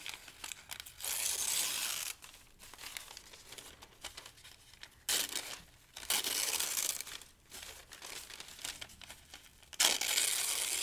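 Thin pale-green paper sheets are torn into strips with the fingertips, with loose strips lying on the sheet pile. Bright, dry crinkling and tearing rasps alternate with longer, louder ripping bursts, separated by quieter rustles as the paper is handled.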